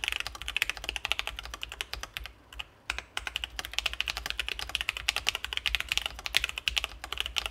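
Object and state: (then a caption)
Mechanical keyboard being typed on. A Sesame Ergo split ergonomic mechanical keyboard with C3 Kiwi switches, an acrylic case and plastic keycaps sits on a desk mat as both hands type steadily with their fingertips. It produces a rapid stream of short, bright, crisp key taps centred around 2.6 kHz, with a brief pause in the middle before the typing resumes.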